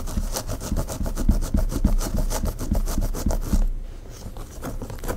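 Long pink nails on both hands scratch and rub the dark hair at the nape and hairline of a mannequin head, whose hair is in a bun held by a cream claw clip. The result is a quick, loosely regular run of rasping, crackly scratches, about three strokes per second, with a strong low rumble under a bright hiss. The scratching grows softer during the last second and a half.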